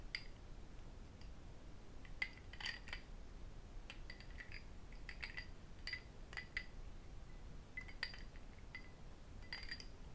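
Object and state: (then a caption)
Cut crystal glass tumbler. A small, empty cut crystal whisky tumbler is held in both hands and tapped and clinked with fingertips and metal rings. Scattered bright, glassy clinks ring briefly around 2 kHz, sometimes in quick clusters, over a quiet low background hum.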